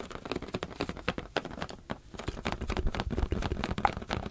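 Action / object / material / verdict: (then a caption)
tap / rubber balloon / rubber / none. A rubber balloon is tapped with the fingers in a quick, uneven patter of soft, dull taps. Each tap is short with almost no ring, and the sound sits mostly in the low range.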